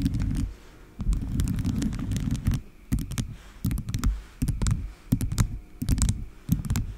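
Long acrylic nails on both hands tap and scratch a microphone head covered in small colourful plastic charms shaped like animals and candies. Bursts of dense, low, rumbling scratching alternate with sharp, bright clicky taps and brief quieter gaps.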